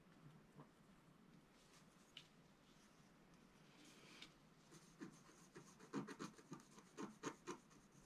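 A wooden stylus scratches and rubs a flat black coated scratch art paper sheet lying on a table. Soft, steady rubbing hiss runs through the first half, then a quick series of sharper, brighter scratching strokes builds in the last few seconds.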